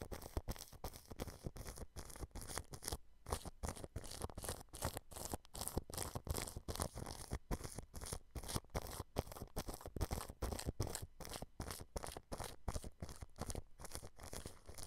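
A thin paintbrush scratches and brushes across clear plastic cling film stretched over a white dome microphone. It makes a steady run of quick, crinkly, crackling strokes with close, muffled low thumps underneath and bright rustle on top. Each stroke dies away almost instantly, with brief gaps between bursts.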